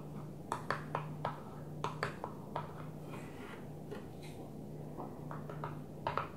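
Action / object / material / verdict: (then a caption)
tap / plastic container lid / plastic / none. Long nails tap a flat blue plastic container lid lying on a table, making an irregular series of light, short clicky taps with quick decay and a brittle plastic tone. A steady low hum runs underneath throughout.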